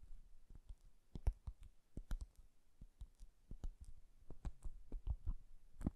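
Fingertips and nails tap and scratch the sides of a small, hollow, lidded Japanese cardboard box covered in floral washi paper. The result is a quiet, uneven string of dry clicks and soft, low, hollow taps that stop almost instantly, with brief bright scratchy ticks mixed in.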